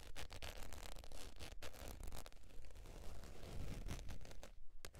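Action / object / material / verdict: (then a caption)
scrape / faux leather zip wallet / faux leather / none. Long pointed nails scratch the surface of a beige textured faux leather zip wallet lying on fur. Quick, uneven scratching strokes repeat about twice per second, each a brief rasp over a dull low rumble.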